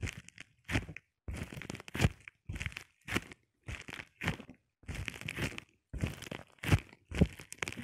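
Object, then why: Plastic bubble wrap sheet. A flat sheet of clear plastic bubble wrap is scratched and rubbed with short painted nails and fingertips. Short bursts of crisp crinkling and scratching are separated by brief silences.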